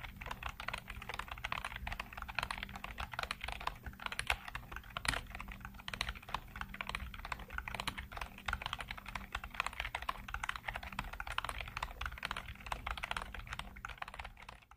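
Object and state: Plastic computer keyboard being typed on.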